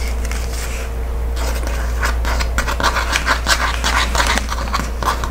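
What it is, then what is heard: Kraft paper padded mailer. Painted nails scratch and rub along the pull-to-open strip and the paper face of a flat Amazon kraft paper padded mailer lying on a wooden table. Dry, papery scratching strokes come in irregular bursts over a steady low hum.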